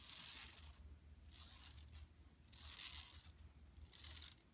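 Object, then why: Woven plastic mesh tote bag. Long nails scratch across an empty, flat yellow woven plastic mesh tote bag lying on carpet. The result is repeated bursts of bright, hissy, tearing-like rasping, with a faint low hum underneath.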